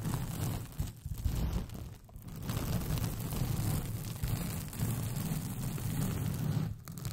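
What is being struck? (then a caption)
Rolled paper sheet. Long painted fingernails scratch a white paper sheet with pink polka dots, rolled into a hollow, empty tube over the microphone. The result is a steady, deep, muffled rumbling scrape, heavy in the low end, that swells and dips briefly several times.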